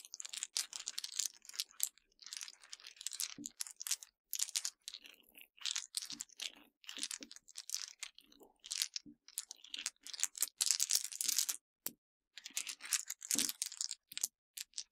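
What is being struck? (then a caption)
Broken hard candy pieces. A pile of small, solid broken white Mentos hard-candy pieces on a dark surface is pressed and crushed by the fingertips of both hands with long dark-painted nails. Dense bursts of dry, bright crunching and sharp cracking come in quick clusters with brief silent gaps, almost entirely high-pitched with no low end.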